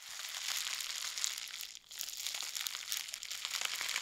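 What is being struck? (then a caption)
Plastic bubble wrap. A long roll of clear plastic bubble wrap is held in both hands and squeezed, rubbed and crinkled with fingers and nails. The result is a dense, continuous bright crinkling and crackling with almost no low end, and a brief quiet dip just before the two-second mark before the crinkling resumes.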